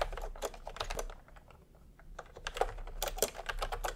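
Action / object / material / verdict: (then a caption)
tap / plastic computer keyboard keys / plastic / none. Bare fingertips of both hands type fast on a full-size pastel plastic retro keyboard with round plastic typewriter-style keycaps, resting on white fabric. Quick, dry, clacky key presses come in uneven bursts, easing to a soft lull in the middle before picking up again with sharper, brighter clicks.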